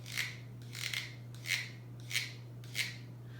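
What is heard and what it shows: The slits in the side of a greenhouse plant pot are scraped, making five rasping strokes at a steady, moderate pace. Each stroke is a bright, dry scrape concentrated in the upper frequencies, with a constant low hum underneath.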